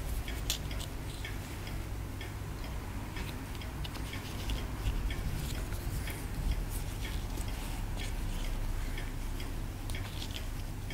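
A wooden stick repeatedly scrapes a solid white plaster dig block held low over a table. The result is a steady run of short, dry scratching ticks with bright edges over a low, constant hum.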